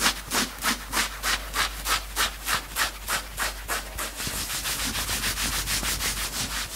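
Fingertips of both hands quickly scratch and grab the grey chest fabric of a worn two-tone knit sweatshirt. It makes a fast, steady rhythm of bright, hissing rubs, about three per second. After a few seconds the strokes blur into a denser, more continuous scratching.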